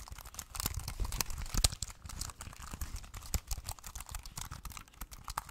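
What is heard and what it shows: A small, slim, hollow black plastic Bluetooth wireless keyboard is held in both hands while fingertips press and tap its keys in a steady run of typing. Each keystroke gives a quick, dry click with a hollow low thump and a bright plasticky edge. The taps die away almost instantly, with no ring between them.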